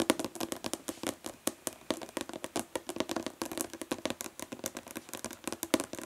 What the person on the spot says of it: Nail tapping on plastic body lotion bottle